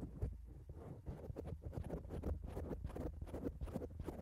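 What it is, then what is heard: Foam microphone windscreen. Long acrylic nails of both hands scratch and tap on a black foam microphone cover. The result is a dense stream of soft, muffled, low, thumping rustles with quick, dull taps that stop short, and only a faint bright hiss above them.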